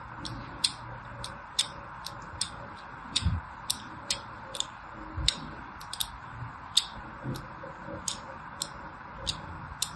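A thin metal needle scratches repeated grooves into the surface of a solid lilac bar of soap held in the hand. About eighteen short, bright, crisp scraping ticks stand out over a steady hiss, each dying away almost instantly.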